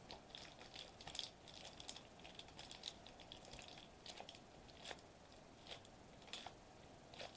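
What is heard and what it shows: Fingertips and short nails quickly tap a flat silver metallized plastic bubble wrap sheet lying on a white table. The result is a quiet, rapid patter of crisp, bright clicks and crinkly ticks that die away almost instantly, centered around 3.4 kHz over a faint steady hiss.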